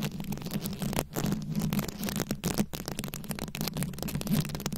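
Long nails scratch and tap across a rhinestone-studded microphone head, making a dense run of close, crackly scratches and clicks. A steady low hum sits underneath. There are no words.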